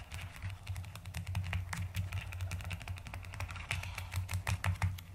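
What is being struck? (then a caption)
Plastic mechanical keyboard. Fast typing on a white-cased plastic mechanical keyboard with pastel plastic keycaps, struck with fingertips and long nails, one hand mostly over the keys. A rapid, continuous run of short, bright clicks and clacks plays over a steady low hum near 94 Hz.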